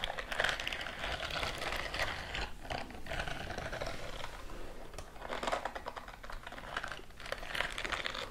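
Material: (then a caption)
Silicone. A white silicone dish-scrubbing glove with a bristle texture is worn on one hand and held upright near the microphones, while the other hand's fingertips and nails scratch and tap along its bristled palm and fingers. The result is a dense, steady stream of bright, crackly scratching and quick taps, swelling into louder bursts.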